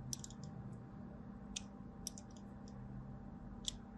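A blade is drawn across a solid white DURU bar soap, cutting long diagonal lines into its surface. Short, bright, crisp scraping clicks come in small clusters over a quiet, steady low hum. Each cut ends almost instantly with no ring.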